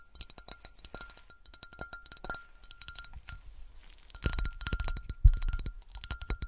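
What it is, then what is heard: Melted glass bottle tapped. A melted glass bottle is tapped with some bassy scratches, giving quick, bright glass clinks over a low rumble. The taps come in rapid, dense clusters and grow louder and heavier in the second half.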